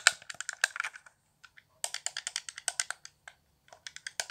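Fingertips tap the buttons and hollow shell of a handheld, transparent plastic Xbox One controller lit blue, producing about twenty quick, dry plastic clicks and light rattles. The taps come in rapid bursts separated by short pauses, with a bright, crisp tone centered around 1.5 kHz and almost no low end.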